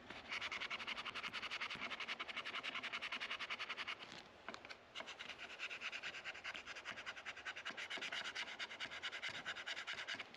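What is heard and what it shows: A plastic card scraper is dragged along the dark rosewood fretboard of a guitar neck, between the metal frets, with the neck lying on a padded rest. It makes a rapid series of dry, bright scraping strokes. The strokes pause briefly near the middle, then resume at the same quick pace.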